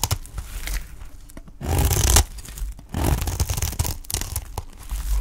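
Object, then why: Olive-oil soap bar scraped with a knife blade. A utility knife blade scrapes along the edge of a dry, solid green olive-oil soap bar held in hand, shaving off curls. Rough, crackly scraping and tearing sounds come in uneven strokes, with two longer, louder passes near the middle that carry a bright, hissy edge over a low rumble.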